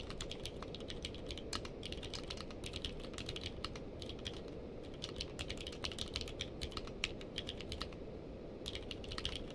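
Fingertips of both hands type continuously on a navy/purple-case mechanical keyboard with plastic keycaps. Rapid, bright clacking keystrokes rise over a steady low rumble, with a brief pause near the end before the typing resumes.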